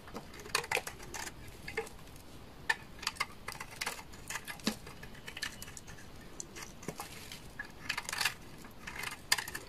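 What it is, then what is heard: Dry laundry soap bar being shaved. A utility knife blade repeatedly scrapes and shaves curls off the edge of a hand-held, solid beige bar of dry laundry soap. Each pass makes a quiet, crisp, bright scratching burst with almost no ring, in irregular bursts over a low hiss.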